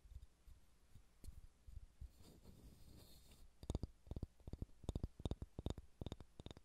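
Fingernails scratch softly across a solid pale pine wooden ball, making a low, rustling scrape. Then they tap it in a quick, uneven series of short, dull knocks with bright clicky edges and almost no ring.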